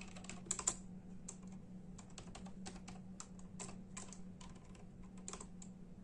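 Bare fingertips of both hands type in a steady, rapid tapping on a full-size black and silver plastic membrane computer keyboard with hollow keys. Quick, bright, hollow clicks run over a steady low hum, with a couple of sharper key strikes near the start.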